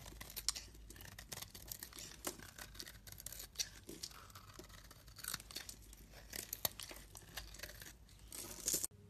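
A metal utility blade scrapes and carves thin curls from a solid pink bar of soap covered in shavings. The result is a steady, bright, crisp scraping and crackling with many quick, dry snaps and no ring. It swells to a louder scrape near the end before cutting off abruptly.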